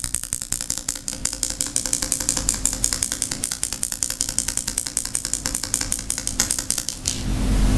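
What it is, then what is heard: Glass candle jar with metal lid, tapped with nails. A medium glass jar candle, full of white wax and topped with a silver metal lid, is held in both hands while long painted nails tap and scratch across the glass and lid. A rapid, uneven stream of sharp, bright clicks fills most of the clip. Near the end it gives way to a steadier, sustained scratching hiss.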